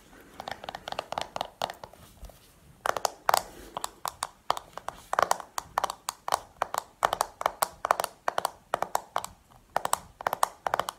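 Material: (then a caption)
Plastic. Long painted nails tap on the lid and back of a small, round, hollow black plastic makeup compact held up in the air. The quick, dry clicks come in uneven bursts with a bright, hollow plastic tone and almost no ring.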